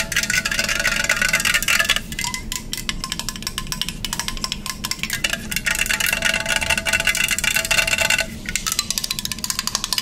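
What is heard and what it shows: A hollow pink printed aluminum beverage can, held in both hands, is tapped and scratched with long fingernails. The result is a dense run of quick, bright metallic clicks and scraping, with a thin ringing tone. A brief quieter lull comes around the two-second mark and again near eight seconds.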